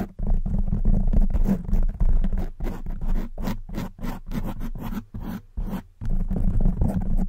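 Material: Foam.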